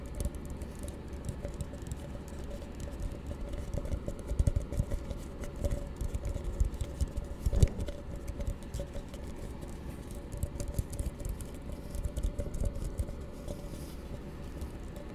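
An empty, hollow plastic cup held in both hands is tapped quickly with the fingertips on its base and walls. The result is a continuous patter of soft, dull, low-pitched taps that stop almost instantly, with a few slightly louder knocks scattered through.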